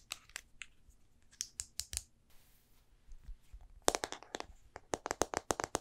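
A small silver Olympus compact film camera with a hollow plastic and metal body is held in hand and tapped with long painted nails and fingertips while its parts are clicked. Sharp, dry, bright clicks and taps come in irregular bursts with a short scratchy rustle in the middle. The pace turns into a faster run of crisp taps near the end.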